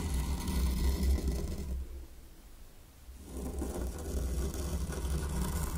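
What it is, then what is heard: Fine sand raked in a small wooden tray. A mini wooden rake is drawn in patterns through fine white sand in a small hexagonal wooden zen garden tray, giving a steady raking, scratching scrape with a low rumbling body. The scraping fades to a near hush around the middle of the clip, then builds back up and continues to the end.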